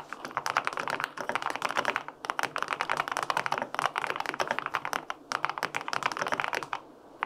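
Fingertips type steadily on the plastic keycaps of a white-pink full-aluminum 65% mechanical keyboard with linear switches, producing rapid, crisp clacks with short pauses near 1, 2 and 5 seconds. Each keystroke is a short, dry tap centered in the midrange with bright edges and almost no low end or ring.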